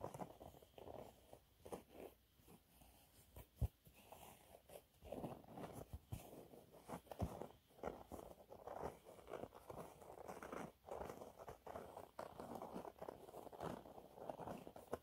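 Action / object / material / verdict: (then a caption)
scrape / cellulose sponge cloth / cellulose / none. Fingernails scratch a thin, flat, yellow textured cellulose sponge cloth, making a continuous run of soft, dry scratching and rasping. The sound sits mostly in the low and middle range with very little brightness, broken by a few sharper taps and clicks, and stays quiet throughout.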